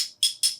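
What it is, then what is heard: Metal dice. Metal gravity dice are tapped together, giving two bright, high-pitched metallic clinks that ring briefly and fade. The chimes sit high, centered around 3.3 kHz.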